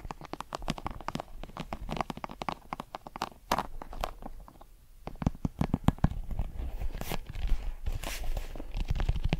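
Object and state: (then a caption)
Leather American football. A brown leather Wilson American football with white laces, hollow and inflated, is held at the microphone and scratched and tapped with long metal claw nails and fingertips. A dense run of quick, dry clicks and crunchy scrapes sits over a low, hollow thump, each sound dying almost at once. The activity briefly dips near the middle before resuming more strongly.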